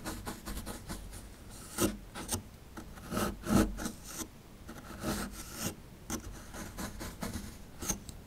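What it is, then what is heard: Plaster fossil dig block being scraped. A small chisel scrapes the crumbly plaster near the top right of a small, solid plaster fossil dig block. Dry, gritty rasping strokes come in quick bursts, with a few louder scrapes standing out. Each stroke stops short with no ring.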